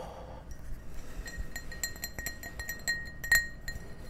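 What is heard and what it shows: An empty, clear, ribbed drinking glass, hand-sized and hollow, is held in both hands and tapped with fingertips and nails. It gives a quick, irregular series of light clinks, each ringing briefly at a glassy tone near 1.9 kHz with bright overtones. One tap near the end stands out louder than the rest.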